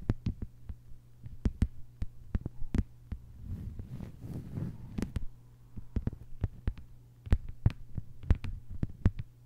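Long white-polished nails of both hands tap a thin, solid, flat lime-green plastic cutting mat lying on a table. The taps come as quick, dull, low clicks that die away almost instantly, with a softer, denser patch of rapid tapping in the middle. A steady low hum runs underneath throughout.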